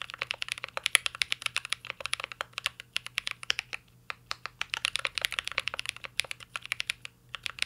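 Fingertips type continuously on a mint-green Cyberboard R3 mechanical keyboard with plastic keycaps and an aluminum case. The result is a rapid stream of short, bright clicks and clacks with a few brief pauses and a faint steady low hum underneath.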